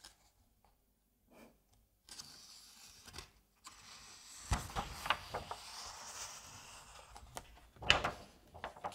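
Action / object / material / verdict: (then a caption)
scrape / paper comic book pages / paper / none. Fingers turn the paper pages of an open Asterix comic album and rub across the page surface. After a near-silent start, soft bright rustling and swishing builds into a series of crisp paper crackles and flicks as the pages turn.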